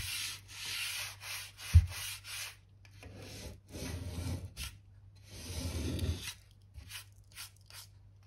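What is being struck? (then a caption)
Oak floorboards swept with a bristle brush. A narrow bristle brush scratches back and forth along the seam of solid oak floorboards by the skirting. Short, quick bright scraping strokes give way to longer, heavier rubbing sweeps, all over a steady low hum.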